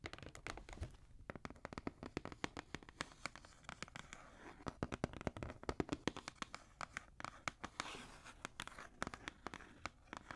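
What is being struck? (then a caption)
Cardboard shoe box. Fingernails scratch and tap the side of a black Jordan cardboard shoe box held upright. Dense, dry, quickly decaying taps are heard in irregular bursts, with soft papery scratching between them.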